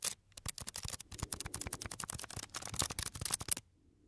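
Fingertips and nails tap and scratch the surface of a small, light, solid wooden block held near the microphone. A rapid run of dry, bright, clicky taps lasts about three and a half seconds, each one short with no ring. The tapping then stops, leaving a faint low hiss.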